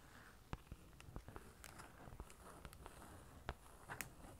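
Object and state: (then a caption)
Card certificate in plastic sleeve tapped with nails. A flat card certificate in a plastic sleeve, held in both hands, is tapped along its edges and front by long orange nails. Quiet, dry plastic clicks come at an irregular pace, with a few sharper taps standing out. A soft low rumble sits underneath throughout.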